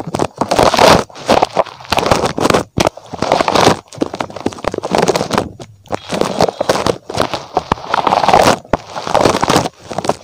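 A small, soft and squishy red spiky rubber puffer toy shaped like a rabbit is held in one hand and scratched and squeezed with fingertips close to the microphone. Dense, crackly rubbery scratching comes in repeated bursts, centered in the midrange with some bright texture, separated by brief quiet gaps.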